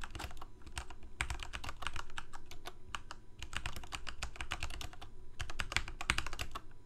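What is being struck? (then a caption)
Plastic mechanical keyboard keys. Fingertips of both hands type rapidly on a full-size Corsair K68 backlit plastic mechanical keyboard with Cherry MX Red switches. A steady stream of short, bright key taps and clacks dies away almost instantly, bunching into quick bursts over a low, steady hum.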